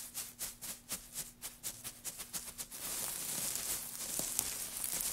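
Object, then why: Pile of thin wood shavings. Both hands press and scrunch a loose pile of thin wood shavings on a black surface with their fingertips. For the first half, twelve separate bright, dry crinkling crunches come in a steady rhythm, then the sound becomes a continuous, dense, high rustling crackle to the end.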